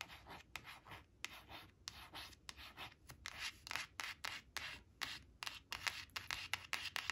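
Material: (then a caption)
Laminated cardboard. Long acrylic nails trace and scratch the printed balloons on a thin, flat laminated cardboard flash card resting on a fabric tablecloth. A rapid series of short, bright, dry scratching strokes rises and falls over a faint low hiss, with little low end and no ring after each stroke.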